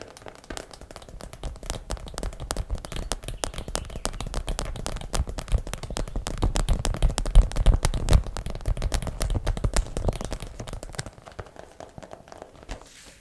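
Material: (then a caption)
Plastic. Long black acrylic nails tap fast on the sides of a small clear plastic zip bag full of purple hair rollers, held upright. A dense, uneven stream of short, dry plastic clicks with a dull low body builds louder toward the middle, then thins and fades near the end.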